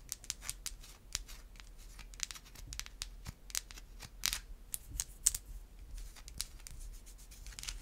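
Long white acrylic nails tap and scratch a solid white bar of soap held in the other hand. The result is a quiet, irregular series of short, dry clicks and brief scratchy strokes, bright and crisp with no ring after each tap.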